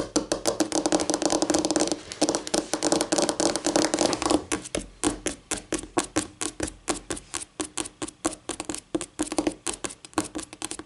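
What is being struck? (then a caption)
Laminate tabletop. Long painted nails tap quickly on a flat, solid white laminate tabletop, using the fingertips and nail tips of both hands. A dense, rapid flurry of dry clicking taps fills the first four seconds or so, then thins into separate, crisp taps at an uneven pace. Each tap is short and bright with a hollow midrange knock and almost no ring.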